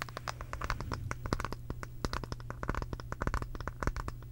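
A round, light-colored solid wooden brush head is scratched and tapped with long pink acrylic nails. Many quick, sharp clicks and scrapes come in an irregular patter over a steady low hum.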